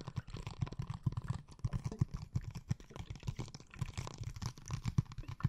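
Long painted nails tap on a blue, liquid-filled plastic glitter water bottle held at an angle. A quick, uneven run of soft, dull taps gives low, muffled thuds around 125 Hz with almost no bright content. Each tap dies away almost at once.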